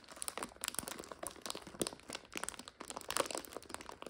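A plastic bag full of dry egg noodles is held upright while fingers and long nails squeeze and crunch the bag and the noodles inside. Dense, bright plastic crinkling mixes with sharp, dry snaps of the noodles, in quick bursts with very little low end.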